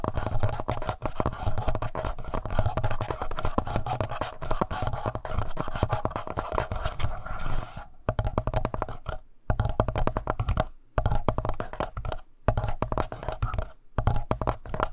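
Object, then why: Plastic handheld audio recorder. Fingertips and nails scratch the mic head of a black plastic Tascam handheld audio recorder, then move to its lower body and buttons. The result is a dense, rapid, continuous scratching with a heavy low-frequency rumble, broken after about eight seconds by several brief silent pauses.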